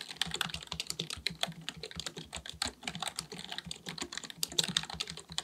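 Fingertips of both hands type rapidly on a full-size black plastic computer keyboard with a hollow housing, resting on a desk. A steady stream of quick, bright, clicky key taps dies away almost instantly, with little low-end weight.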